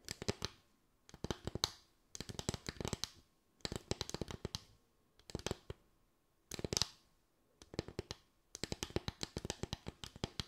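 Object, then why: Slatted bamboo board. Long acrylic nails tap a small slatted bamboo board with a ridged top, making quick, dry, clicky taps in eight short bursts separated by brief pauses. Each tap is sharp and dies away almost instantly, with a bright edge over a light woody knock.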